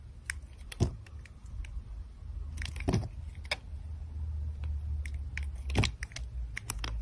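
A solid teal glittery soap bar, held in a hand with long dark nails, is cut and scraped with the metal blade of a utility knife as slices peel off. Crisp, bright scratching clicks and short scrapes come in bursts, with a few louder dull thuds, over a steady low rumble.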